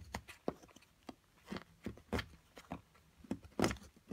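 A small metal carving pick chips and scrapes at a solid plaster block from an excavation kit while long-nailed fingers hold it steady. Thirteen short, dry, gritty scratches and taps sound in an irregular rhythm, each fading almost at once, with quiet gaps between them.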